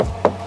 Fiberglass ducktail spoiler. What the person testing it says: kalau diketok udah kayak plastik, walaupun ini fiber